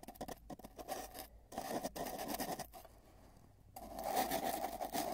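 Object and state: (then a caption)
Cardboard tube being scratched. Fingers at both ends of a long, hollow, spiral-wound cardboard tube rub and scratch it, with a microphone inside. Quick, uneven scratchy strokes have a hollow resonance around 740 Hz. After a quieter stretch in the middle, the rubbing returns louder and more continuous.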